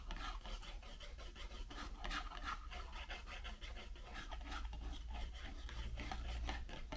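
Long pink nails scratch and rub the side of a white Raffaello cardboard candy box, hollow and mostly empty, standing on a table. A steady, dry rasping scrape of quick strokes sits over a low hollow rumble, with brighter scratchy streaks throughout.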